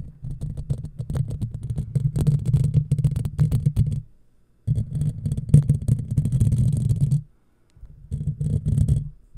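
Long fingernails on both hands scratch and rub the hollow, black, round woven steel mesh grille of a microphone. The result is a dense, low, rumbling scrape with quick gritty ticks over a faint bright hiss. It comes in three bursts separated by short silences.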